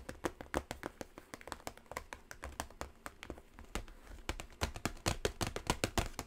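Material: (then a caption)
Cardboard. Long nails tap and scratch the surface of a small, hollow, gold quilt-textured cardboard gift box with a ribbon handle. Quick, dry taps follow one another continuously, mixed with light scratching. Each tap dies away almost at once.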